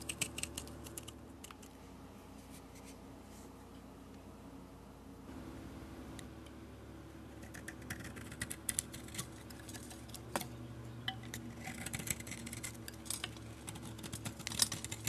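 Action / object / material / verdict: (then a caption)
scrape / oval bar of soap / soap / none. A utility blade scrapes the glossy galaxy paint coating off a solid oval soap bar with a "No.1" imprint and then carves into the soap. Soft, bright scraping and crisp little ticks come through over a low steady hum. The cuts grow busier and sharper after the first few seconds.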